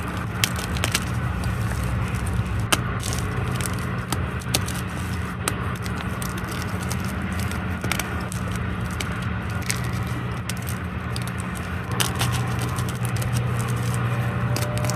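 Both hands crumble solid blocks and broken chunks of white gym chalk (magnesium carbonate) in a dark tub. Many sharp, dry crackles and crunching snaps rise over a steady low hum that fills the clip, with brief bright clicks scattered throughout.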